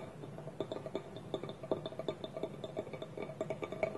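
Fingertips and nails tap quickly and irregularly on a small, hollow, empty polished wooden bowl resting on a table, with its wooden lid held tilted on top. Each tap is a quiet, dry click with a short hollow resonance in the mid range that dies away almost at once, and a faint bright tick sits on top of the strongest taps.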